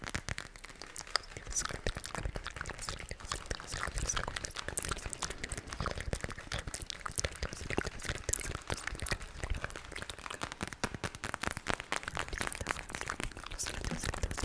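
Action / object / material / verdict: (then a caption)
scrape / plastic eye mask filled with gel beads / plastic / none. A clear plastic eye mask filled with pink gel beads is tapped, scratched and squeezed with long nails. The result is a steady, dense stream of quick crinkling, crunchy clicks and squishy rustles that runs throughout without pause.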